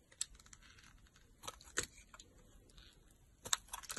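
A solid pink soap bar, held in the hand, is carved with a utility knife blade, cutting and scraping into it. Quiet, crisp, bright scratchy strokes come at an uneven pace, each one short and dry with no ring.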